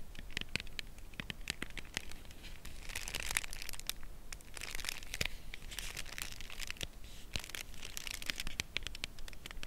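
Long nails tap and scratch along the edge of a cardboard chocolate bar box held edge-on. A quiet run of sharp, dry clicks mixes with bright, papery scratching bursts over a soft low rumble, with each tap dying away instantly.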